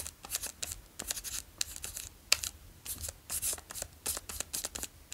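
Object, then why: Plastic snack wrapper on a chocolate bar. A full, long Daim chocolate bar in a plastic wrapper is held in one hand while the fingertips of the other crinkle and trace over it. The result is a quick, irregular run of bright, dry crinkles and rustles concentrated in the high frequencies, with one sharper snap near the middle and almost no low end.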